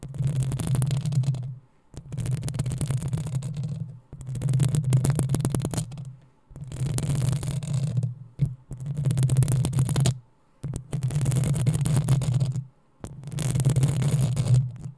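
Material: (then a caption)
Metal mesh. Long acrylic nails of both hands scratch the hollow metal mesh grille head of a black desktop USB microphone in about seven sustained bursts separated by short silences. Each burst is a deep, boomy rumble centered near 125 Hz, overlaid with fine, bright crackling scrapes.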